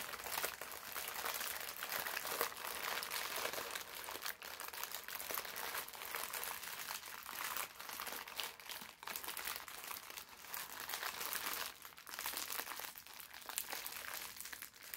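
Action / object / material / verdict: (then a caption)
scrape / thin parchment paper sheet / paper / none. A thin sheet of brown parchment paper is crushed into a ball in both hands. Dense, continuous crackling and crinkling fills the clip, bright and papery with almost no low end, pausing briefly at moments before resuming.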